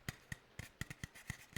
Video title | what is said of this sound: -VOD- ASMR stream -9.5.2026- | It's similar tapping but on a aluminum can.